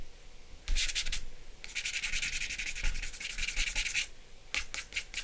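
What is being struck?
Sheet of drawing paper with charcoal.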